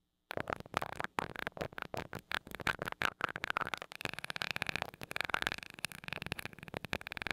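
A glass rod taps the small gold metal mesh grille of a mini microphone, lifting off between taps. Sharp, dry, close-up clicks carry a bright metallic edge and a faint ring near 1.5 kHz, with almost no low end. The taps start spaced apart, then turn into a faster, denser patter with a steady high shimmer.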